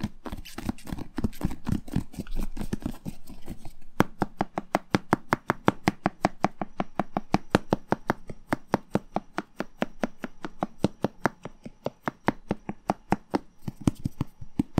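A whole, hollow red bell pepper, held by its stem end, is tapped with the fingertips in quick, steady succession. The first few seconds are a dense, muffled patter, then the taps become separate, crisp knocks with a hollow low body and short bright clicks that die away almost instantly.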